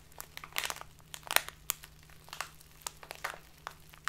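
A tall, narrow, clear plastic bag full of loose tea, standing on a table, is squeezed and crinkled with fingertips and long nails. It gives a quick run of sharp, bright crackles and crunches that stop almost instantly. A faint, steady low hum sits underneath.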